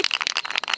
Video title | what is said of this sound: Hobby in a Box - Episode 6 - Spray Paint this Valentine ! ! ! | If you hear this voice, then buy it. If not, don't buy it.